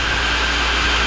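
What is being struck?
Nothing is struck.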